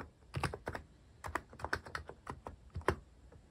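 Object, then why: Plastic mechanical keyboard keys. Fingertips type on a cream plastic-case mechanical keyboard with cat and paw-shaped plastic keycaps, pressing keys repeatedly. About fourteen short, separate keystrokes sound as crisp plastic clacks with a low thock, each dying away almost at once. The typing rhythm is uneven, with a brief pause before the strokes resume.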